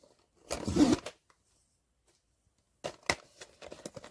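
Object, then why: Cardboard blind box with vinyl figure inside. A sealed cardboard blind box containing the vinyl Vigilance figure is shaken. A burst of dull rattling and shuffling is followed by a pause, then a series of sharper knocks and rattles as the figure shifts inside the box.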